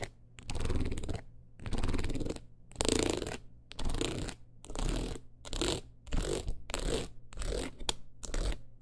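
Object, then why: Rhinestone-covered clutch wallet. A long nail runs and taps across the stones of a teal rhinestone-covered clutch wallet held in hand. It makes short bursts of dense, bright scratching and clicking, separated by brief pauses. The bursts repeat at an uneven pace, with a low hum underneath.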